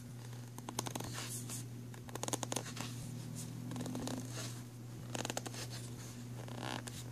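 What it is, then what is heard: Plastic pencil tray. Fingernails scratch and tap along the grooves and rim of an empty, black, ridged plastic pencil tray. Quick bursts of dry, clicky scratching rise and fall over a quiet, steady low hum.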